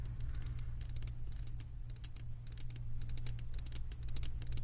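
Long nails tap rapidly on the bottom rim of a glass candle jar full of wax. They make quick, bright clicking taps that sound like typing, over a steady low hum.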